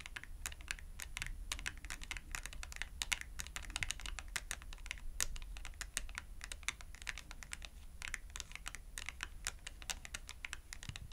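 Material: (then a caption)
Cardboard. Long acrylic nails tap rapidly on a thin cardstock clothing price tag held upright between both hands. The result is a fast, steady patter of dry, bright clicks with no ring, resembling keyboard typing, over a constant low hum.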